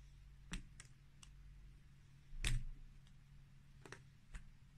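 A green plastic peeler shaves curls off a solid white bar of layered soap with red and black stripes, held in the hand. Sharp, bright scraping clicks come at uneven intervals, the strongest one near the middle, over a steady low hum. Each click dies away almost at once.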